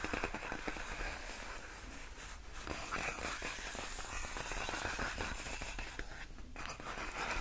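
Long nails scratch along the hollow, air-filled tubes of large, clear, inflated plastic air-column packaging wrap. The result is a steady run of quick, irregular, dry scratching and crinkling strokes, broad and bright with a soft low rumble underneath.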